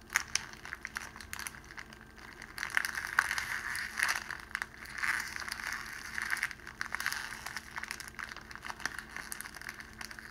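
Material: Cellophane.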